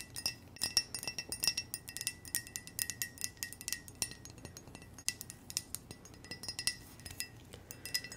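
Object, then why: Ceramic coffee mug. A hollow white ceramic mug with red hearts and a red handle is tapped with long nails in quick, irregular clusters of light taps. Each tap gives a bright, glassy clink with a faint high ring that dies away almost at once, with little low-end body.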